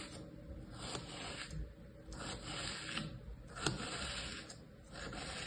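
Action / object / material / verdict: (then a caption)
scrape / kinetic sand in a plastic tray / sand / none. A flat layer of tan kinetic sand pressed into a light green plastic tray with cookie-cutter shapes is traced by a fingertip and a thin tool, scratching and cutting lines through its surface. The sound is a soft, continuous gritty rubbing and scraping with brief brighter strokes and a low rumble beneath.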